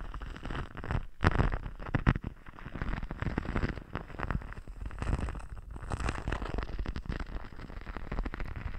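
Fingertips and nails rub and scratch across a flexible teal sequined, glitter-textured sheet draped over a dummy head microphone. The result is a steady, dense crackling rustle with rapid scratchy ticks, heavy in the low end, with a louder burst of scratching near the start.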